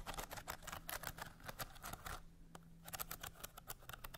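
Long nails tap and scratch the ridged lid of a small hollow bamboo slat box with a painted leaf design. Quick, dry clicks and scrapes come in dense bursts, with a short quieter pause partway through, over a faint steady low hum.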